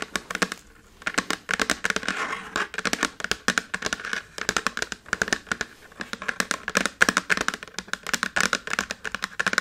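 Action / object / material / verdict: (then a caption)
tap / small slate chalkboard in a wooden frame / slate / none. Fingertips and nails of both hands tap and scratch fast across a small dark chalkboard slate in a red wooden frame lying flat on a table. Rapid, dry, sharp clicks with bright scratchy texture and almost no ring follow each other in dense bursts, with a brief pause near the first second.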